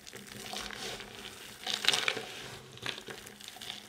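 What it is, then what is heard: Dry soap chips being crushed. Bare hands squeeze, crush and rub a heap of small, solid, multicoloured dry soap chips and crumbs on a white surface. A steady, bright, dry crackling and crunching runs throughout, swelling into a louder, crisper crush around the middle of the clip and a shorter burst near the three-second mark.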